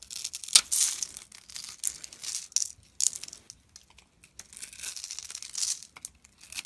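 A utility knife blade scrapes and shaves the scored surface of a hand-sized, solid dark brown soap bar held in the palm, and grainy flakes fall off. Quiet, dry, crinkly scraping comes in short, bright bursts with brief pauses, almost entirely high in tone with no low end.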